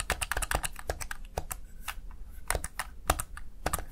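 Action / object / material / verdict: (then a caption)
tap / plastic gaming keypad keys / plastic / none. Fingertips rapidly press the keys of a Razer Tartarus Chroma plastic gaming keypad, producing a quick, uneven stream of short, crisp clicks that reach into the high range. The clicks die away almost instantly over a steady low hum.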